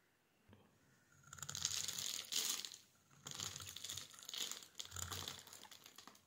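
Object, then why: Bar of soap. A solid, palm-sized pink embossed soap bar is held in the hand and scraped with a metal utility knife blade, cutting off crumbly shavings. Bursts of dry, bright scratching and crackling rise and fall over several strokes, with a faint low thump near the start.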